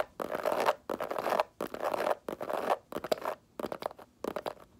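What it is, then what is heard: Faux leather mini bag scratched with nails. Long nails scratch and tap across the textured front of a small, hollow snakeskin-print faux leather mini bag. Dry, raspy scraping strokes come in uneven bursts, broken up by quick, light taps.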